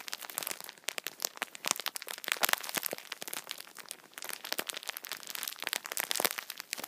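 A multipack of tissue packets in plastic film wrap is held in both hands, squeezed and rubbed with the fingertips. The film gives off a dense run of sharp, bright crinkles and crackles with no low end, each snap dying away almost instantly.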